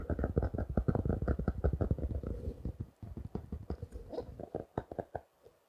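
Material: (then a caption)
Paper, plastic. A small closed spiral notebook, a solid stack of paper with a blue and orange cover wrapped in clear plastic, is held in both hands and tapped and scratched with the fingertips and short nails. It makes rapid, uneven, dull low thuds with very short decay, mixed with soft papery scratching. The tapping thins out and grows quieter toward the end.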